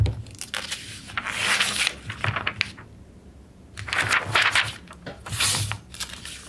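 Bare fingertips and a palm rub across the printed pages of an open glossy paper magazine, the August 1991 edition of Electronic Musician, lying flat on a wooden table, then the pages are turned by hand. Bright, papery swishes and rustles come in bursts with crisp little crackles, separated by a brief near-silent pause before a second round of sweeping rustles.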